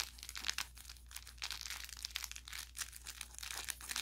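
An orange velour plush carrot cat toy with crinkle filling is held in both hands and squeezed and rubbed with fingers and thumb. It gives off a steady run of bright, crackling crinkles over a faint low hum.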